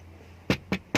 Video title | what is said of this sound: 1997 Nissan Cefiro 2.0 V6 Excimo Interior Full In Depth Walk Around review | It sounds solid, but I don't know what kind of material you call this.